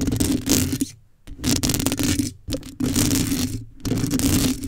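Long nails scrape down the side and scratch the top of a black metal mesh microphone grille. Four bursts of close, rough, bright scratching hiss are separated by brief near-silent gaps, with a steady low hum around 270 Hz beneath the scraping.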